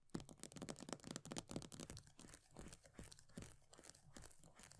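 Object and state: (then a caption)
Plastic cosmetic tub. Long nails rapidly tap and scratch the pale green plastic base and edge of an upside-down plastic body butter tub with a paper label. The result is a quiet, irregular stream of short, dry clicks mixed with bright, crinkly scratching.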